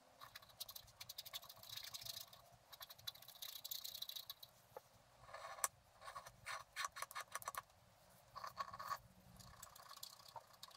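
A wooden stylus scratches the black wax coating off a flat scratch-art card lying on a table, working in quick strokes. The result is bursts of dry, bright scratching with short pauses between the strokes.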